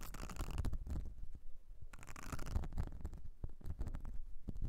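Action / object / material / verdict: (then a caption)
scrape / ridged silicone cleaning mat / silicone / none. Long nails on both hands scratch across the ridges and nubbed texture of a whale-shaped blue silicone makeup brush cleansing mat. The result is a dense, continuous rasping and rubbing with a heavy, low rumbling character, broken by brief scratchy bursts and soft ticks.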